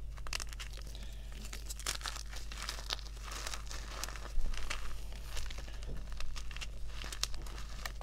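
Bare fingers crush and crumble solid white gym chalk chunks (magnesium carbonate) dusted with pink over a pile of powder, letting the powder fall. Many dry, bright crackles and crunches come in quick succession, with the loudest crunch about halfway through. A steady low hum runs underneath the whole time.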